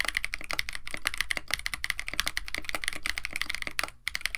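Both hands type continuously with their fingertips on a KBD67 Lite compact 65% mechanical keyboard with Techno Violets switches, an FR4 plate, a white case and blue and white PBT plastic keycaps. The result is a rapid, steady stream of short, crisp clacks with a bright click and a soft low thock beneath, broken by one brief pause near the end.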